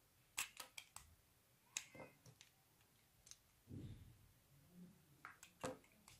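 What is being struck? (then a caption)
Bar of soap cut with a metal blade. A utility knife's metal blade carves, slices and scrapes the surface of a solid, palm-sized, rounded white bar of soap held in the hand. The sound is a run of short, crisp, bright clicks and snaps that die away almost instantly, with a softer, lower, duller scrape in the middle. The whole clip is quiet.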